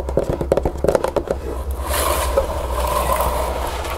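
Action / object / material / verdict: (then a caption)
tap / cardboard box / cardboard / none. Long green-painted nails tap and scratch the green paper lining and walls of an open, empty, floral-printed cardboard keepsake box. A quick run of sharp, dry taps with a low hum beneath is followed by a steadier, softer scratching hiss.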